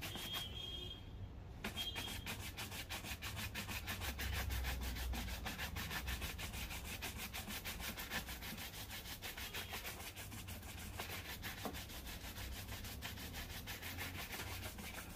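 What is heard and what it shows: A black leather loafer, worn on a foot and held by one hand, is rubbed quickly with a wooden-backed bristle shoe brush. Rapid, fairly steady back-and-forth strokes make a bright, scratchy swishing over a constant low hum, continuing for the whole clip.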